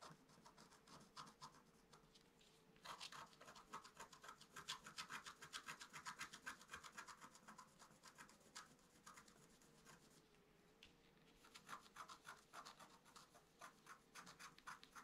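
A wooden stick scratches lines into the black coating of a flat scratch-art card, making quick, dry, rasping strokes with a bright, papery edge over a faint steady hum. The scratching grows busier and louder in the middle, eases off briefly, then picks up again toward the end.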